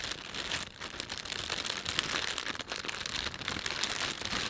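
Thumbs and fingertips rub and stretch a thin, empty plastic panda shopping bag. The result is a steady, dense crinkling that stays mostly bright and high, with brief dips between bursts of rustle.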